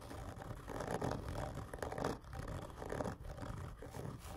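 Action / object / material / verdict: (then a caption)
scrape / cardboard tube / cardboard / none. Both hands slowly and hard scratch long fingernails across a large, hollow, black printed cardboard whisky gift tube lying on its side on a table. The result is a continuous, rough scraping that swells and fades in long strokes, with a hollow, boomy body that is heavy in the low end and a resonant tone around 470 Hz.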